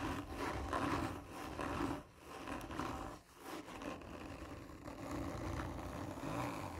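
Long nails scratch and rub slowly and hard across the textured surface of a hollow cardboard tube lying on its side. The result is a continuous, dry, rasping scrape with a hollow, boxy resonance, swelling and dipping briefly between strokes.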